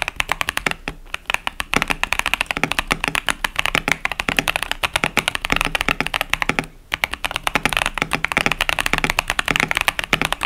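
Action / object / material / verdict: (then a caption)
tap / plastic mechanical keyboard with plastic keycaps / plastic / none. Fingertips type continuously on a KBD67 Lite, a 65% plastic mechanical keyboard with Boba U4T tactile switches and pastel plastic keycaps. The result is a rapid stream of bright, short clacks with almost no ring, centered around 2.7 kHz, with brief pauses near 1 and 7 seconds.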